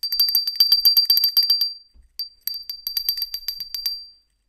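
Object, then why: Small ceramic hand bell. A small, hollow white ceramic hand bell with a colorful decal, held in a black-gloved hand, is shaken near the microphone. It gives rapid, bright, high-pitched clinking rings in two bursts separated by a brief pause. Each strike decays quickly.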